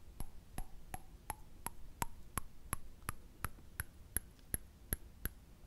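A small, round, thin, hollow silver-coloured metal candle lid, held up in both hands, is tapped and scratched with fingertips and short nails. Sixteen quick, dry taps come at a steady pace, each a short click with a faint high, bright metallic ping. A soft low hum sits underneath.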